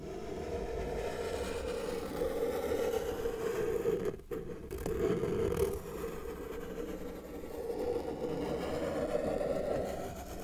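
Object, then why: Felt-tip marker on paper sheet. A felt-tip marker held in the fingers is dragged across a flat white sheet of paper resting on a solid table, drawing lines. It makes a steady, scratchy rasp centered in the low-mid range, with a brief break in the stroke around four seconds before the scratching continues.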